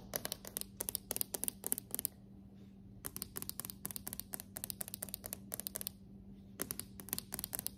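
Solid dark hardwood floorboards are tapped and scratched with long decorated acrylic nails. Quick bursts of sharp, bright clicks and scrapes come in groups, with short quiet gaps between them, over a steady low hum. Each hit dies out almost at once.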